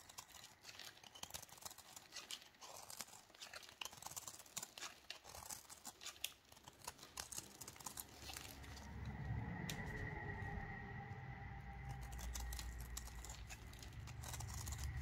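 A metal knife held in gloved hands shaves thin, crumbly layers off the flat cut face of a solid, dry, recycled Dalan soap ball, with the shavings piling up beside it. Rapid crisp scraping and crumbling strokes run close together throughout, turning into a louder, steadier, fuller scrape with a faint high ringing tone over the second half.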